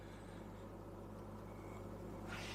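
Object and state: Nothing is struck.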